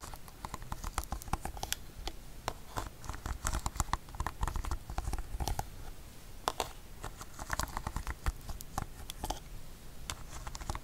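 Long fingernails tap and scratch across the rubber button face of a hand-sized, hollow black plastic TV remote control held upright in front of the mic. Dense, irregular clicks and scratchy strokes come in quick bursts, each dying out almost instantly, over a soft low thumping body and a faint bright edge.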